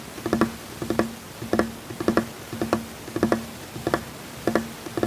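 Fingertips tap on a large, solid, flat wooden tabletop in a continuous patter. Quick groups of two or three dull knocks repeat at a steady, rhythmic pace, each tap short and woody with a low-mid tone and almost no ring.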